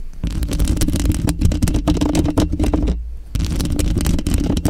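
Long pink and glitter acrylic nails on lotioned fingers scratch and tap the woven metal mesh grille of a Blue Yeti microphone's hollow head. A dense stream of quick, crackly scratches and taps rides over a deep, boomy rumble. The sound dips briefly near the three-second mark before resuming.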